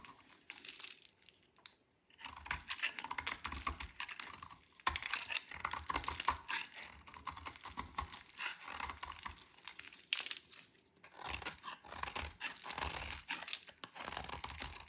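A solid, dry white soap bar with pink specks is shaved with a metal blade into crumbly flakes. Dense, dry scraping and crackling strokes come in bursts, bright and crisp with little low end, separated by brief pauses around 2 seconds and near 11 seconds.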